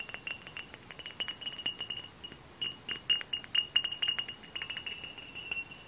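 Close-up tapping on a glass hard cider bottle produces a quick, irregular run of light, bright clinks. Each clink rings at a steady pitch near 2.8 kHz and fades almost at once, with no low end.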